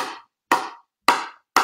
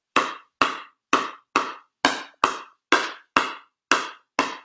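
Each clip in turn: First: hollow-sounding composite paddle. Second: solid-sounding composite pickleball paddle.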